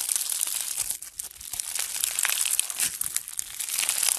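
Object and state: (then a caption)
Foam bead slime (floam). Both hands knead a soft, solid mass of blue foam bead slime (floam) while fingertips squeeze it, producing continuous crunchy, crackling bead pops. The sound is bright and high with almost no low end, easing briefly just after the first second before the dense crackling builds again.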